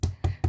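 Three hollow, low knocks on a vacuum-compressed plastic storage bag packed with blankets, each a dull thud centered around 90 Hz that fades quickly. Even compressed, the bag still sounds hollow.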